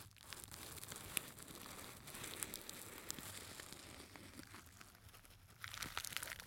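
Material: Sequinned fabric.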